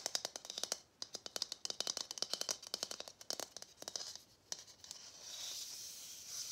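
A hollow matte gold plastic Christmas bauble is tapped and scratched with fingernails. Many quick, bright clicking taps come in dense bursts, with short pauses between groups. The tapping gives way to a steady, hissy scratching at the end.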